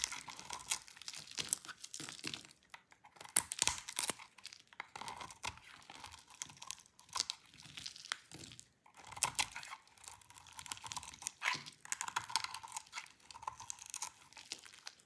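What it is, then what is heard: Dry soap bar. A hand-sized, solid cream-colored bar of dry soap is held in the hands and carved with a yellow-handled utility knife, scraping off crunchy flakes. Dense, dry, bright crunching and scratching rasps come in quick irregular bursts with tiny pauses between cuts, with almost no low end.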